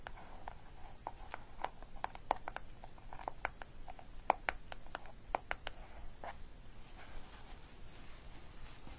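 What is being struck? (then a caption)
Paper-wrapped cardboard gift box. A small, closed cardboard gift box wrapped in green paper with a pink satin ribbon bow, contents unknown, is tapped and scratched with long dark nails and fingertips. The result is a quiet, rapid series of sharp, dry clicks and taps with faint scratching between them, each dying away instantly with no ring.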